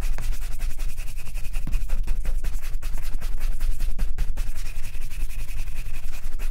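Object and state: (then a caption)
Leather ankle boot being brushed. A black leather Chelsea boot, worn on a foot, is buffed with a wooden-backed bristle brush in fast rubbing strokes over the upper. The clip is a steady, dense scratchy swish of bristles with a heavy low rumble underneath, and the rapid strokes blur into one another.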